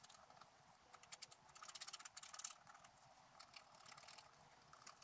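A wooden stylus scratches the coating of a scratch art sheet lying on a table, working near the lower right corner. Quick, dry, bright scratching strokes come in rapid bursts that grow denser and louder midway, then settle into quieter, steady rasping. There is almost no low end.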